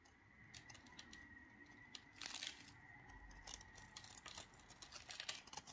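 A metal knife blade shaves and cuts the crumbly surface of a small, solid ball of dry recycled Dalan soap held in black-gloved hands. Quiet, bright, crisp scrapes and crumbly crackles come in quick bursts, with a faint steady tone around 2 kHz underneath. The cutting grows louder and rougher in the middle and toward the end.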